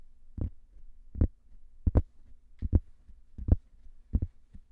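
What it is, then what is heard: Cork coasters, tapped. Two identical thin round cork discs, one held in each hand, are scratched and tapped slowly with fingernails. About nine soft, low, dull taps land at an uneven, unhurried pace, some falling in close pairs, with brief scratchy bursts and a faint steady low hum underneath.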